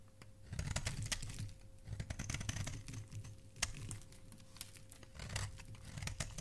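A flat metal blade repeatedly scrapes and carves the face of a solid, palm-sized, pale blue-grey bar of soap held in the hand, cutting off shavings. The sound is a run of quick, dry scraping and crisp clicking strokes with a low thudding base and bright edges, each stopping almost at once.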